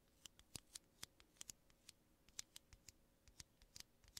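Two small, hollow aluminum coffee pods held in the fingertips of both hands are tapped and scratched with fingertips and nails, kept clear of the mic. Around twenty quiet, bright, crisp clicks and ticks come at an uneven pace, each dying out almost instantly with a thin metallic edge and little low end.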